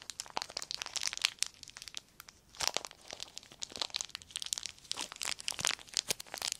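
A small crumpled sheet of clear plastic film is crinkled and squeezed between the fingertips. Dense bursts of bright, dry crackling and crunching come in quick irregular clusters, with almost no low end and a brief quieter pause around two seconds in before the crinkling picks up again.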